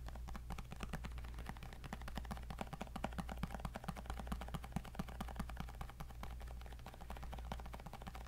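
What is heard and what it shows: Fingertips and nails tap rapidly across the glass screen of a tablet with a white bezel, sitting in a black case. Dense, quick, dry clicks run steadily for the whole clip, each one short and crisp with almost no ring, over a constant low hum.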